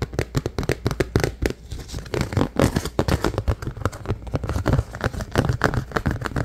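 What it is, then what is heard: Empty plastic food container. Fingertips and nails tap and scratch the sides and rim of a large, hollow, empty clear plastic food container. The result is a dense run of quick, dull, hollow taps mixed with short crinkly scratches, mostly low in tone with very little bright edge, each tap dying away almost instantly.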